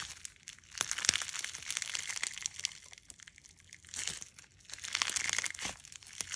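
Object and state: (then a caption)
Clear slime with clay fruit slices. A hand-sized clump of clear slime packed with polymer clay fruit slices is folded, stretched and squeezed between the fingers and thumbs of both hands. It gives a dense, bright, crunchy crinkling of irregular small pops and crackles, swelling in a few louder bursts with quieter stretches between.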